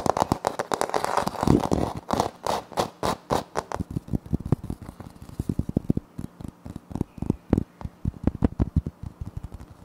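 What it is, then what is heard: Laminate floor panel. Fingertips and short nails scratch and tap a flat, solid wood-look laminate floor panel with a light wood-grain print. A dense, crackly scratching opens the clip, then gives way to a run of crisp, dry taps, about 44 in all. Each tap is short and dull with almost no ring.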